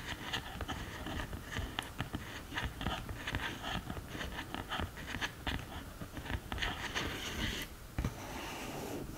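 Long green nails tap quickly across the pans and sides of an open cardboard eyeshadow palette, making a dense run of short, dry clicks and light scratchy scrapes. The taps die away almost instantly, and near the end they give way to a steadier soft hiss.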